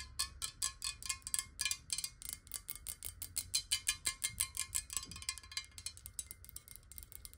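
Long nails tap quickly on a clear, hollow, square glass water bottle that is partly filled with water and held tilted. The result is a fast, slightly uneven run of bright, clicky taps, each dying away almost at once, over a faint glassy ring and a low background hum.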